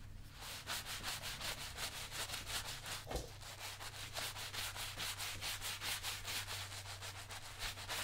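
A brown leather lace-up work boot, worn on the foot and resting on a shoe-shine stand, is covered in white lather and scrubbed repeatedly with a wooden-handled bristle brush. Quick, rhythmic, bright scratchy strokes repeat steadily throughout, over a constant low hum around 59 Hz.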